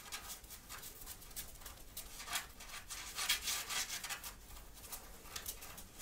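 Long painted fingernails and fingertips scratch and rub the chest of a grey long-sleeve, cotton-like sweatshirt with a cat print, soft fabric worn on the body, close to the microphone. Quiet, bright, scratchy strokes come in a quick, irregular rhythm with little low end.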